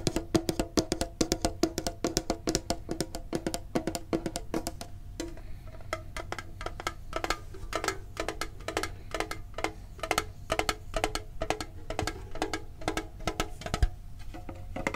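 A medium, printed, hollow metal Pokemon card tin is tapped with the fingertips and nails in a fast, uneven flurry of sharp, clicky taps. Each tap is brief, with a hollow metallic tone that dies away almost at once, over a steady low hum.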